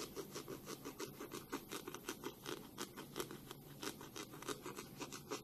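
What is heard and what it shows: Long pink nails slowly scratch and rub over the plastic back of a black plastic hairbrush held in both hands. The result is a steady series of soft, regular scratching strokes with a papery rasp that carries up into the high, bright range.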